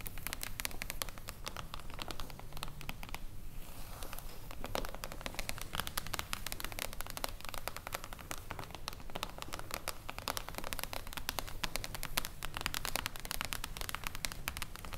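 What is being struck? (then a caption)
Foil-covered hardcover book. Long acrylic nails tap and scratch across a solid, silver mirror-foil hardcover book lying flat on a table. The result is a steady, dense stream of crisp clicks and crackly scratching with bright edges and a low rumble underneath, easing briefly around the third second before continuing evenly.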